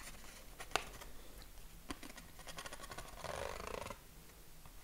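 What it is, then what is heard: Corrugated cardboard sheet. A flat yellow corrugated card sheet, about a hand-span wide and held against the chest, is tapped and scratched across its ridges with fingertips and short nails. Quiet, dry taps and one sharper click come early, followed by a denser, raspy scratching burst toward the end.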